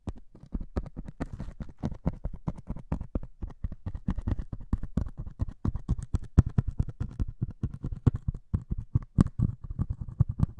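A single needle pricks and scratches the grey scouring-foam top of a solid melamine sponge held in one hand. It makes a rapid, uneven run of many short, dull ticks and scrapes. Each is soft and low-weighted with almost no ring, and a few land louder than the rest.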